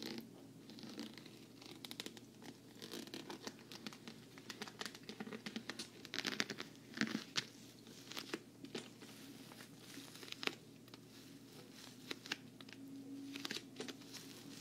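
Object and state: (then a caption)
Vinyl travel case scratched and tapped with nails. Long nails scratch and tap the side of a hollow, black glossy patent vinyl travel case with a handle. Quick, dry clicks and scratchy rasps come in irregular bursts, with bright crisp edges and almost no ring. A faint, steady low tone sits underneath.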